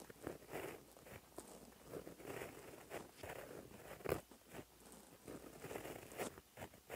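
A gold gel pen with a white barrel and metal ballpoint tip is drawn across a flat black lined notebook page lying on a surface, writing gold Korean handwriting. A continuous light scratching of the pen tip on paper is heard in short strokes, with brief pauses and a few sharper ticks between them.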